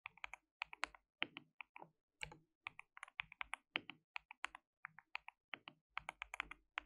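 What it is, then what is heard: Plastic mechanical keyboard. Fingertips of both hands rapidly type and tap on a white, RGB-backlit compact mechanical keyboard with plastic keycaps (some translucent pink) and a hollow case. About 37 quick, bright, clacky keystrokes come in uneven bursts, each dying almost instantly with very little low end.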